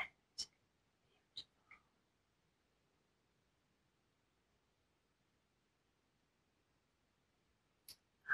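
Fingernails scratch and tap the surface of a flat rectangular black textured paperboard eyeshadow palette case with a small metal plate, held in one hand. Short, bright clicks come in a quick cluster at the start, then a long near-silent gap before two more taps at the end, the last one the loudest.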